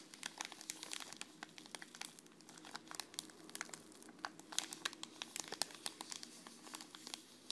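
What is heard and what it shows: A small green Kusmi Tea sachet, a foil-laminated wrapper with a tea bag inside, is held flat and scratched and crinkled by long red-painted fingernails. Quiet, dense crinkling fills the clip with rapid, bright, sharp ticks and clicks over a soft, papery rustle, each snap dying away almost instantly.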